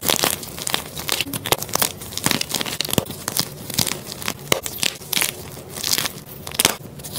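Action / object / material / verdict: scrape / magnesium carbonate gym chalk block / magnesium carbonate / none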